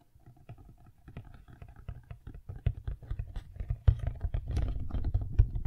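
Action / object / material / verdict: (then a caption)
tap / cardboard box / cardboard / none. A medium-sized black cardboard inner box from Blue Yeti X microphone packaging, hollow and apparently empty with a round hole, is turned in the hands while long nails rapidly tap and drum on its sides. The result is a fast, uneven patter of short, dry, low thuds that grows louder and busier toward the end.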